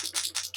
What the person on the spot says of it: when you shake it up, you hear that little bowl that is gonna mix up the product for you